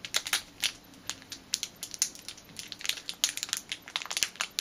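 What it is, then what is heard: Plastic bag being crinkled. Fingers crush and crinkle a small clear plastic packet with a black rubber band inside. The result is a dense run of short, sharp, bright crackles with almost no low end, each snap dying away almost instantly between quieter rustling.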